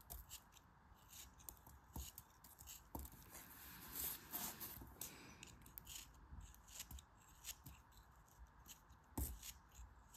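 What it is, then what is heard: Kinetic sand being cut. A solid chunk of grey kinetic sand, held in the fingers, is cut into crumbly slices with a metal craft knife. Soft, gritty scraping and crunching cuts repeat quietly throughout, with a bright, sandy hiss and a few sharper crisp snaps as slices break away.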